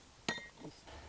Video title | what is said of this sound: Great Belize Cooking - Episode 2: Belize City (Barbecue) | It sounds like glass, like you say